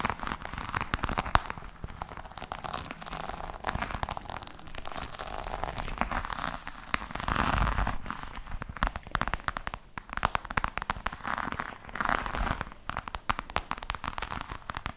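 Long nails scratch across the bumpy surface of a hollow black croc-embossed faux leather hard case with a metal frame. The result is a dense, continuous stream of dry crackling and rasping scrapes, with short louder bursts and a low, hollow undertone from the case.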